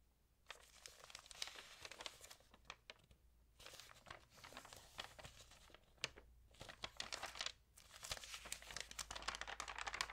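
Flat hands and long nails rub and crinkle the damp glossy pages of an open magazine with portrait pages lying flat on a table, then turn a page. Bright, dense crinkling and papery rustles come in bursts separated by brief quieter gaps, over a faint steady low hum.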